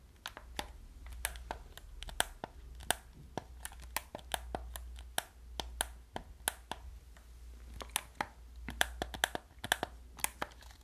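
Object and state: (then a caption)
Plastic game controller. Fingertips and nails press the buttons and tap the shell of a hollow black plastic gamepad, making a quick, irregular run of short, bright, dry clicks and taps. A low steady hum sits beneath them throughout.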